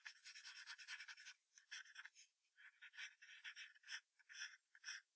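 A wooden graphite pencil makes fast hatching scratches near the tail of a drawing on a thin sheet of white drawing paper taped to a hardboard clipboard. A dense run of rapid, dry, bright scratching strokes fills the first second, then it breaks into shorter, unevenly spaced bursts of rasping with almost no low end.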